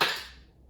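A raw egg is shaken inside an empty lidded jar with no water, striking the side of the jar. A single loud, sharp crack rings out and fades within a fraction of a second. The egg is cracked.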